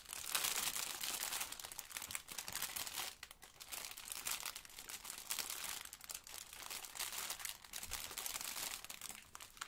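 A small, soft, rectangular blue sponge in a clear plastic film wrapper is held and squeezed by yellow rubber-gloved fingers, crinkling and scratching the wrapper, with a plastic apron possibly adding some crinkle. The result is a steady, dense stream of bright, crisp crackling that swells and dips in waves throughout, with almost no low end.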